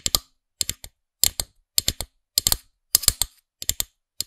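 Long acrylic nails tap and click on the orange-haired character head of a small hard plastic figurine-topped pen toy with a black and clear plastic stem, likely hollow, held close to the microphone. Nineteen sharp, bright clicks come in quick clusters of one to three, each stopping dead with almost no ring and little low end.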